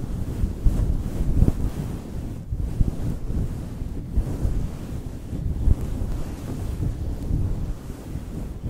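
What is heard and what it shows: Both hands scratch and rub a roughly fist-sized, soft, yielding pink fluffy synthetic faux fur cover over a foam windscreen on a Blue Yeti microphone, using fingertips and short nails after first fluttering the fingers before contact. The result is a dense, muffled, rumbling scratching that sits almost entirely in the low end, with no bright content. It swells in occasional heavier bursts throughout.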